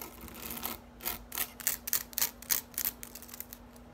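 Long acrylic nails scratch and rake the many thin upright blades of a medium-sized green plastic grass drying rack. Quick, bright, dry scratching bursts come in an uneven rhythm, each short with almost no ring, over a faint steady low hum.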